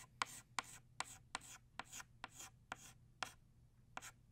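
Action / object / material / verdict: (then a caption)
scrape / chalk stick on chalkboard / chalk / none. An orange chalk stick scratches across a flat black chalkboard, tracing petal outlines in short strokes. Each stroke starts with a sharp tap followed by a bright, gritty scrape, in a loose, uneven rhythm over a faint low hum.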